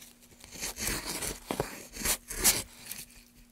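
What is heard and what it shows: A gouge held in a gloved hand scrapes along the grooves of a solid, pale softwood block, curling up wood shavings. The sound is a series of bright, dry tearing and crunching scrapes with a few sharper bursts and little ring-out, over a faint steady low hum.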